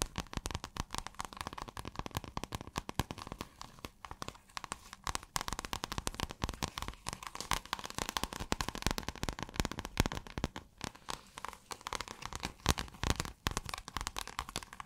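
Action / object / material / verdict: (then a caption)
scrape / scale-textured synthetic fabric / fabric / none. Long acrylic nails scratch a pale blue, scale-textured iridescent fabric that is rolled or folded. The result is a steady, dense stream of quick crinkling, crackling scratches with a soft low rumble underneath and bright rasping edges. There are no pauses across the clip.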